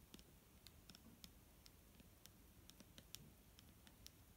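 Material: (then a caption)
Plastic. Long nails tap on the front of a large, clear plastic micellar water bottle that is full of liquid and held in the hand. About fourteen quick, light clicks sound in an uneven rhythm, each crisp and bright with almost no ring. A low, quiet background rumble runs beneath them.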